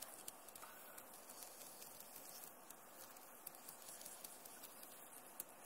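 Fingertips and long nails, with rings on the fingers, tap and scratch the hollow plastic key caps of a backlit Acer laptop keyboard. Soft, scattered clicks and brief sharp taps sit over a continuous bright scratching hiss. The overall sound is quiet, and each tap dies away almost instantly.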